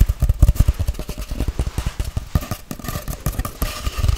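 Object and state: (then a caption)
Cardboard tube. A long, hollow white-grey cardboard tube, held sideways, is tapped and scratched quickly with long nails. Rapid, dry, hollow thumps with deep low-end weight land in a steady, uneven rhythm, each dying away almost instantly. A faint scratchy rasp runs between them.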